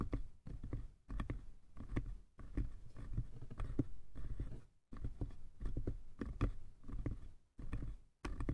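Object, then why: Small wooden box. Fingertips and nails tap continuously on both sides of a small hollow wooden box with a painted lid. The result is a quick, uneven patter of soft, dull knocks that are heavy in the low end and centered around 280 Hz, with each tap dying out almost instantly. Brief silent pauses fall between the runs of tapping.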